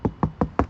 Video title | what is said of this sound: Model 3 SR+ Sound Deadening - Installing RoadStage Audio in Front Left Outer Door - Part 3 | you can hear that is quite solid